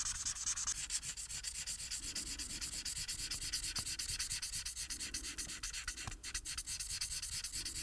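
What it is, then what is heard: Paper sheet being colored with a marker. The felt tip of a plastic marker rubs across a thin printed paper coloring sheet lying flat, in quick back-and-forth coloring strokes, and the sheet is rotated partway through. The result is a steady, bright, hissy scratching that rises and falls with each stroke, with little low-end weight.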